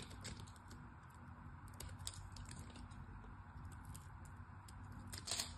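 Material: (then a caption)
Soap. A small metal knife slices along the edge of a solid striped pink-white soap bar. Quiet, crisp scraping ticks and bright little clicks sit over a steady low rumble, with a louder cluster of crackling cuts near the end.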